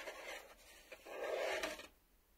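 A black plastic VHS cassette lies flat on a table while a fingertip and nail scratch and tap across its face. Two bursts of dry, raspy scraping, the second longer and louder, carry a faint tonal hiss around 640 Hz before stopping abruptly into near silence.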